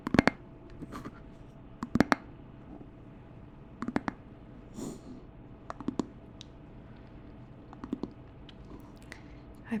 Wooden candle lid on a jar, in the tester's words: Tapping on a wooden candle top, attached to candle base (nice hollow knocking)